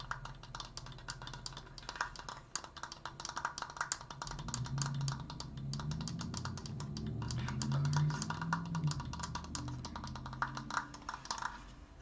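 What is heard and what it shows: Fast, uneven tapping on a wooden Triforce decoration produces a rapid stream of short, dry wooden clicks with a woody tone around 1.4 kHz. A steady low rumble sits underneath and swells through the middle of the clip before easing off toward the end.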